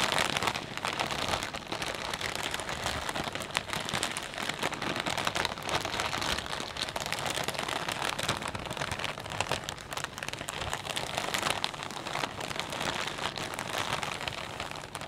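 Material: Plastic.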